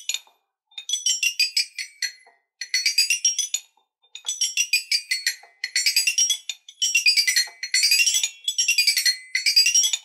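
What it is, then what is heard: Toy xylophone with metal bars. Two wooden stick mallets with ball tips tap an eight-bar rainbow toy xylophone with curved coloured metal bars on a wooden frame, lying on a dark surface. Quick runs of bright, high, chiming notes sweep up and down the scale in bursts separated by short pauses. Each note rings only briefly.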